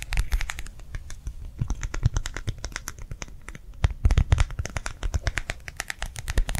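A round, clear plastic gel hand warmer pad filled with liquid is held in the hand and tapped and scratched with long nails. The result is a fast, steady stream of short, crisp taps with scratchy clicks layered over dull, low thuds, with some stronger taps standing out.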